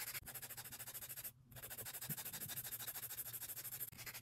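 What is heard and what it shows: Long solid acrylic nail extensions on a hand are filed along the nail edge with a grey emery board held in a gloved hand. Quick, rapid rasping strokes give a bright, scratchy sound that pauses briefly near the middle and then continues.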